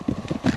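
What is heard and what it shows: A group on a volcano hike stamps hard on volcanic lava and scoria ground, giving three short, dull, low thuds. The ground resonates with a hollow tone because it is hollow beneath.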